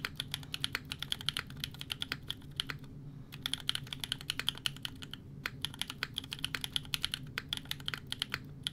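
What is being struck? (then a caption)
Mechanical keyboard with ABS plastic keycaps. A 60% mechanical keyboard with a Fjell case, FR4 plate, GMK Serika ABS plastic keycaps and EMOGOGO tactile switches is typed on rapidly with the fingertips of both hands. It makes a dense stream of short, bright clacks that die out almost instantly, with brief pauses near 3 and 5 seconds. A faint steady low rumble sits underneath.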